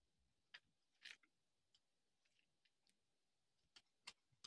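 A small metal knife carves a solid orange bar of dry soap held in the hand, and thin shavings curl off and fall onto concrete. Each cut makes a short, crisp, bright scraping tick that fades almost instantly. The ticks come at irregular intervals against a very quiet background.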